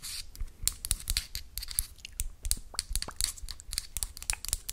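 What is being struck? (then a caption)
Small cardboard box. A small, hollow, closed orange-and-yellow printed cardboard box with a barcode is held in one hand and scratched and tapped with long acrylic nails. The sound is a quick, irregular run of crisp, bright clicks over dry, scratchy rustling.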